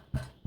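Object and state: Hollow-sounding loaf, baked through.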